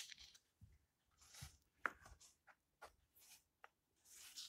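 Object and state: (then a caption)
Old paper book. Fingertips with long painted nails smooth and turn the yellowed paper pages of an open old hardcover book lying on a table, one at a time. The result is a quiet run of short, dry papery rustles and crisp swishes with bright edges, separated by near-silence and a soft sharp tick or two.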